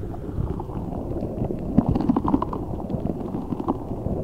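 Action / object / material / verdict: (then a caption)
scrape / rubber spiky stress ball filled with gel water beads / rubber / none. A large translucent rubber spiky stress ball, filled with colourful gel water beads, is held over the microphone and squeezed and rubbed with both hands using fingertips and nails. The result is a dense, steady stream of soft, muffled squishing and crackling, with short rubbery squeaks around 230 Hz and almost no high or bright content.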